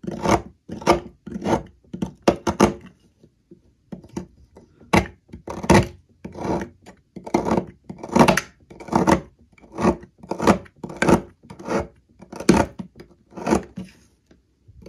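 A metal blade scrapes shavings off the remaining slab of a solid green olive oil soap block, held by hand over a table. Short, dry, rasping strokes repeat steadily with brief pauses between them, with a bright, papery edge.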